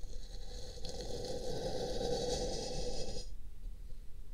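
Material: Paper.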